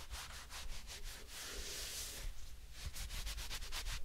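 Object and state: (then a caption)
Fabric glove being rubbed. Bare fingertips and the palm of one hand rub and stroke along a soft, light-coloured textile glove worn on the other hand, which is empty apart from the hand inside. Quick, rhythmic brushing strokes at the start and end frame a longer, smoother swish in the middle, with a steady airy hiss and a low rumble beneath.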